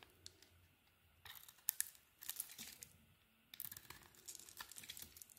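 A metal blade shaves and scrapes pieces off the surface of a hand-held oval solid soap bar with a blue outer layer over a green swirled core, sending crumbs falling. Bursts of crisp, bright, crackly scraping come in short strokes separated by quiet pauses, with almost no low end.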